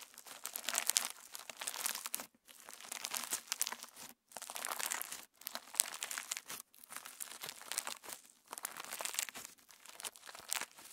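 A palm-sized clear slime packed with plastic star sequins is pinched, folded and pressed between thumbs and fingertips. It gives off dense, bright crinkling and small pops in bursts, with brief silent pauses between handfuls. The sound is crisp and close, with almost no low end.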